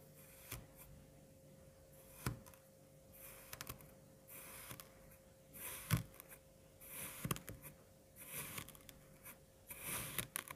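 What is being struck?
Kinetic sand cut with a serrated knife.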